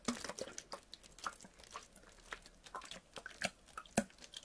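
A clear PET water bottle, partly filled with water, is tilted, squeezed and crinkled by hand. It gives quiet, irregular crackling clicks and sharp bright crinkles over faint water movement, with each snap dying away almost at once.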